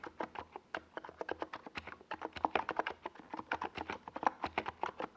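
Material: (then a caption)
Plastic. Fingertips of both hands type rapidly on a NiZ Plum Atom 68, a compact 68-key mechanical keyboard with a white plastic case and tall purple and yellow Domikey Gas Attack SA plastic keycaps, resting on a desk pad. A steady stream of short, dry, mid-toned plastic clacks is heard, each dying away almost instantly, with little low end.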